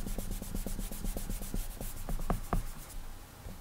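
An index fingertip rubs short, quick strokes across the glass touchscreen of an iPad, making a rapid, steady series of soft squeaky rubbing sounds with a bright hiss on each stroke. Two slightly louder strokes stand out near the end before the rubbing fades.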